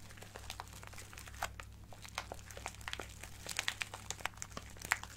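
A small clear plastic bag with a cardboard header, full of colorful acrylic craft gems, is crinkled and squeezed with fingertips and nails. Quick, bright crinkles and sharp little clicks come in uneven bursts over a low steady hum, with the loudest snaps near the end.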